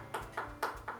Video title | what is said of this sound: Peanut Butter Cookies | it's nice and crispy ... sounds like glass